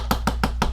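A plastic bottle of antique copper patina paint is shaken, and the loose mixing ball inside rattles in four sharp, short clacks over a steady low hum. The free-moving ball shows the paint is still liquid and has not dried out.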